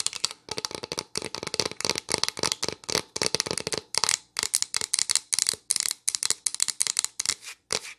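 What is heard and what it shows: Long nails tap quickly on the bare back of a solid pine plank sign held upright. Rapid bursts of crisp, bright clicks come in clusters with brief pauses, each tap dry and dying out almost instantly.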